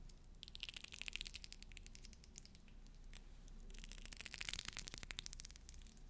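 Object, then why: Pearl bead necklace. Fingernails scratch and roll over the beads of a pearl bead necklace, a necklace whose pearls later fell apart. The result is quiet, dense, rapid clicking and scraping with a bright, crisp edge, swelling in two busier bursts near the start and after the midpoint, over a steady low hum.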